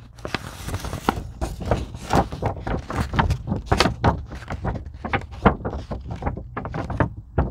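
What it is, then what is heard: Foam craft sheet scratched and tapped. Long pink acrylic nails scratch and tap the surface of a thin, flexible purple-blue craft foam sheet, possibly EVA, lying flat on a white table and bent slightly. A steady run of quick, soft taps and brushing scratches comes through, dull and muffled with a low-heavy body and little brightness. Each tap dies away almost at once.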